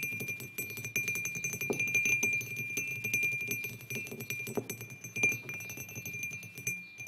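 Fingertips of both hands tap rapidly and irregularly on the sides of a white glazed ceramic mug resting on a wooden table. Each light tap is a quick click that leaves a steady, bright ringing tone near 2.4 kHz, which fades within a fraction of a second.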